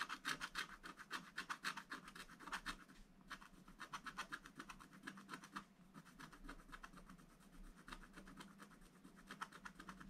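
A wooden stylus scratches short, rapid strokes into the middle of a scratch-art book page, thin black-coated paper resting on a table. Dry, bright scratching rasps repeat in quick, uneven bursts, with brief pauses near 3 and 6 seconds, and each stroke stops almost instantly with no ring.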